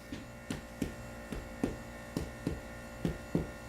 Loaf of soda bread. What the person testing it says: You want to hear that kind of hollow sound to it.